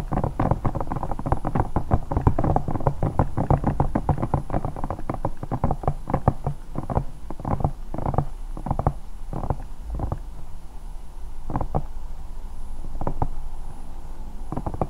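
Long nails scratch and tap a bear-shaped, hollow silicone night lamp, producing a rapid, dense run of dull, muffled taps mixed with soft scratching. The sound is heavy in the low end with almost no bright content, and each tap dies away almost instantly.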